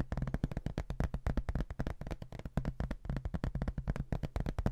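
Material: Hardboard.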